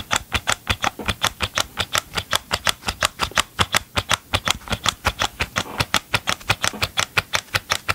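Gloved fingertips tap and scratch the hollow green and gray plastic engine housing of a Ryobi chainsaw, held up close to the microphone. About 44 quick, dry, bright plastic clicks patter in a loose, uneven rhythm, each dying almost instantly, with a faint scratchy rustle between taps.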